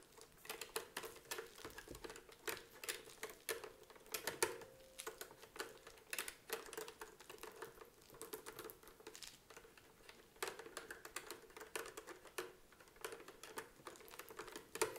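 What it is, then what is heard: Bakelite adding machine with plastic keys. Long painted nails tap and press across the round plastic number keys on the green panel and along the casing edge of a hollow vintage adding machine with a dark bakelite casing. Quick, dry clicks and taps patter steadily throughout, with short bright transients and a faint hollow resonance around 430 Hz.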